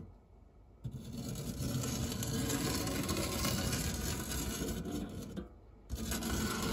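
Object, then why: Non-stick metal tart tin. A silicone spatula rubs and scrapes across the textured, crumb-dusted base of a large round dark grey non-stick metal tart tin with a fluted rim. After a quiet start, there is a steady, dense scraping rasp, broad with a low body and a bright hiss on top. It pauses briefly near the end, then resumes.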